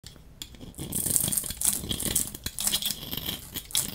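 A hand-sized solid bar of dry pink soap, held in one hand, is shaved with a metal utility-knife blade that scrapes across its surface. Curls and flakes peel off. The result is a run of bright, crisp scraping and crackling strokes with dry, flaky rustles between them.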